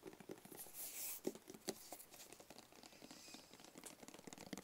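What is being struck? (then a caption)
Small rigid cardboard gift box. A small, rigid, closed, hollow black cardboard gift box is held in both hands and tapped and scratched with fingertips and short nails. Quiet, dry, irregular taps with a hollow mid-range knock and no ring are mixed with soft crinkly scratching. A brighter, hissing scratch swells near the one-second mark.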